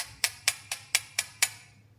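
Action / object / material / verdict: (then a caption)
tap / carbon composite heat sink / carbon composite / none. Six sharp, bright taps on the carbon-based composite heat sink of a TERUNSOUl D016 dashcam give short, dry clicks with almost no ring and their energy concentrated in the high frequencies. The heat sink is rigid and lightweight rather than aluminum, and it writes like a pencil.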